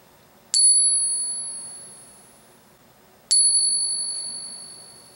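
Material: Silver.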